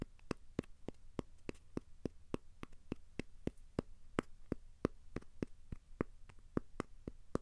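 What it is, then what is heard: Cork coaster. A thin, solid, square cork coaster is held in the hands and tapped and scratched with the fingertips. A steady series of quiet, short, dry taps repeats evenly, each dying away almost instantly over a faint low hum.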